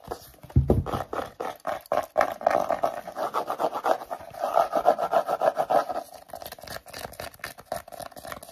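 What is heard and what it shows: Short natural nails rapidly scratch and tap across the embossed faux crocodile leather-look front and back covers of a solid pink hardcover book held upright. The result is a dense, irregular run of dry, raspy scrapes and quick taps centered in the midrange, with a brief low thump near the start.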